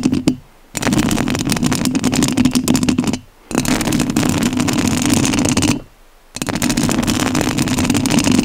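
Long nails scratch the metal mesh grille of a rhinestone-covered studio microphone. There is a brief burst, then three long stretches of dense, crackling rasps separated by short silences. The scratching is close and loud, with a low droning hum beneath a bright, gritty hiss.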